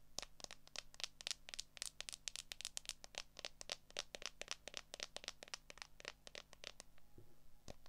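Long acrylic nails tap and scratch the back and edges of a handheld smartphone in a solid, transparent plastic case. The result is a quick, irregular run of sharp, bright clicks with a faint scratchy texture, each dying away almost at once, over a steady low hum.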